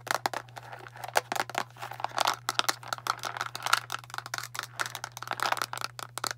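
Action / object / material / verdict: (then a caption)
tap / plastic bottle of tablets / plastic / none. Long nails tap rapidly on the label and blue cap of a translucent plastic Tums antacid bottle full of tablets. The result is a fast, uneven run of sharp, dry clicks with crinkly, bright edges and no ring, over a faint steady low hum.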